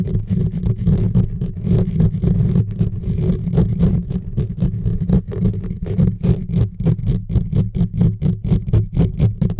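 Fingertips and nails scratch and rub fast and hard on the bare, hollow metal mesh grille of a silver USB microphone. The close contact comes through as a deep, boomy rumble with rapid, uneven scraping bursts at roughly four strokes a second, with almost nothing bright above the low thuds.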